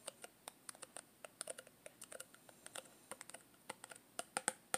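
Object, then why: Thin plastic tub lid. Long green-painted nails rapidly tap and scratch the orange plastic lid rim of a small Play-Doh tub made of thin, hollow plastic. It makes a quick run of sharp, dry clicks with almost no ring, bright at the top with a hollow knock around 800 Hz. Many separate taps come in an uneven, rattling rhythm.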